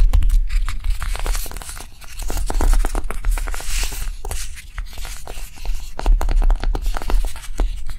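Long nails on both hands rapidly tap and scratch a small, solid pink block of dried light clay resting on a table. The result is a dense stream of quick, dry clicks and scratchy rustles over a steady low rumble.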